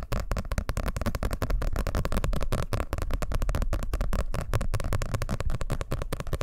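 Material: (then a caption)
Paper. A closed blue hardcover paper book, held close to the microphone, is tapped and scratched rapidly with fingertips and nails. The result is a dense, continuous stream of short, dry taps with a deep, thumping low end and scratchy crackle between them.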